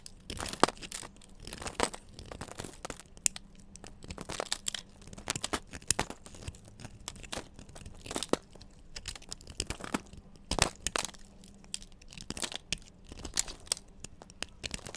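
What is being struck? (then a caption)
Bar of soap cut with a metal knife. A metal knife blade carves and shaves curls off a solid yellow bar of soap held in the hand, with crumbly shavings falling away. The clip is a quiet run of short, dry scraping and crisp crunchy cuts, bright and crinkly with little low end. Each stroke stops sharply with no ring.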